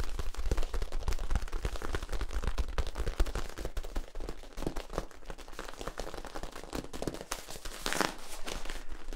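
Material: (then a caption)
Plastic. A long, hollow, flexible yellow ribbed plastic tube is bent and held while fingers rub and tap along its ridges. The result is a dense, irregular run of quick crackling clicks and scratchy rasps over a low, dull rumble, with each tap dying away almost instantly.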